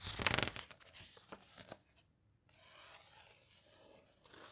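Fingertips and long nails rub and squeeze the glossy paper pages of an open hardcover guitar book, then turn them. A bright, crinkly rustle bursts out first, followed by three crisp paper ticks. After a brief hush comes a soft, steady, airy swish of the pages.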